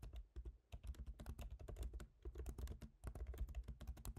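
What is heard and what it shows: Both hands tap rapidly with their fingertips on a MacBook Pro keyboard, with black plastic keycaps set in a silver aluminum body. A quiet, steady stream of short, dull clicks carries mostly low-end thump, with a brief lull just before the one-second mark. Each tap dies away almost instantly.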